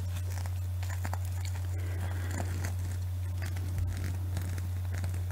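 Long nails scratch and rub a small panda plush toy covered in flip sequins, held close. Soft crinkly, scratchy ticks and rustles patter continuously over a steady low hum.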